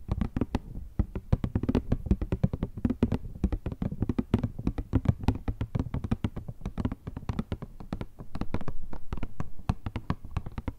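A hollow, rectangular printed cardboard Kleenex tissue box with tissues inside is tapped and scratched with long nails. Rapid, dull, low-pitched hollow taps die away almost at once, with a stretch of steadier scratching mixed in near the end.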